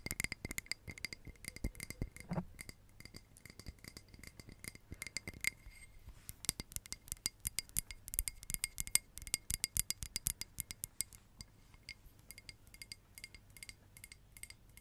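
A small, hollow red glass votive candle holder with a textured surface, apparently empty, is tapped and scratched with long nails. It produces rapid, bright, clinking ticks with very short ring, mixed with soft scratching.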